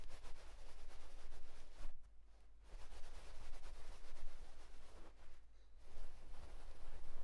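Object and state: Nothing is struck.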